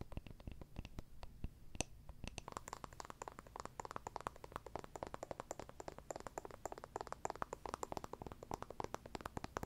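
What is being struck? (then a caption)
Small wooden jar with lid. Long nails rapidly tap and scratch a small, round, hollow wooden jar with a lid. The result is a dense stream of short, dry clicks with very little ring, a faint low hollow thump beneath them and some brighter ticks on top.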